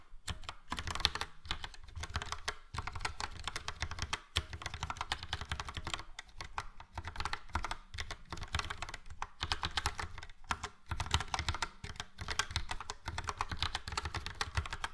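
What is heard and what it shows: Fingertips of both hands type steadily on a full-size plastic Logitech POP Keys mechanical keyboard with a yellow frame and round dark grey and light grey typewriter-style keycaps. The result is a dense stream of short, bright clacks over a low thump, pausing briefly now and then.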